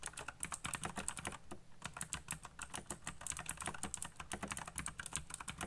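Fingertips type fast on a backlit black plastic mechanical keyboard with RGB lighting and hollow key switches. A dense run of short, sharp clicky taps, bright and crisp with some low thock, comes in a steady flurry with a brief lull in the middle.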